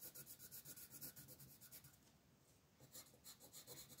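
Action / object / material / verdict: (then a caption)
scrape / colored pencil on a thin paper page / paper / none. A purple colored pencil rubs and scratches across a thin paper mandala page in a coloring book lying flat, making quick shading strokes while the other hand, with long nails, holds the sheet. The strokes make a rhythmic, bright, papery scratching with a soft low grain underneath. The scratching eases into a quieter stretch around the middle before the quick strokes resume.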